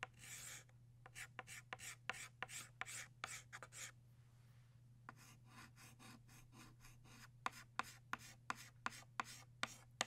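A hand rubs a stick of blue chalk back and forth across a flat black chalkboard to shade in a drawing of a butterfly. The strokes come as rapid, dry, scratchy bursts with a bright hiss. After a brief quiet pause, the strokes return shorter and sharper over a faint steady low hum.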